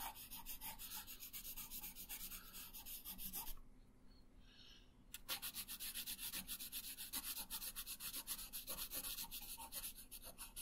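A pink wooden colored pencil is rubbed across a thin paper coloring sheet resting on a wooden table in short coloring strokes. Rapid, bright, scratchy strokes repeat steadily, then pause briefly into a quiet hiss near the middle before the rhythmic scratching resumes.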